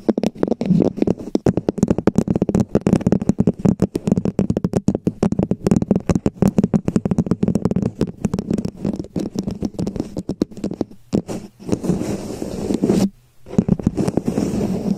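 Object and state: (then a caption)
Plastic cup tapped with fingernails. Long painted fingernails rapidly tap all around the surface of a hollow red plastic cup-shaped cover, producing dense, dry clicks over a hollow tone near 200 Hz. Toward the end, the taps blur into a steadier, scratchier patter that pauses briefly before continuing.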